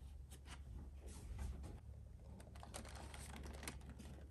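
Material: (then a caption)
Cardboard. A closed, hollow printed cardboard mailer box is held and turned in both hands while fingertips and short nails tap and scratch its sides and lid. This makes quiet, dry tapping and scratchy rustling over a steady low hum.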